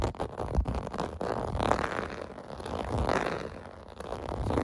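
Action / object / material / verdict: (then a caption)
scrape / plastic bubble bath mat / plastic / none. Fingertips scratch the hollow bubble domes of a clear blue plastic bath mat resting on carpet. The result is a dull, rasping, papery scratching concentrated in the low and middle range, rising and falling in irregular swells with almost no bright edge.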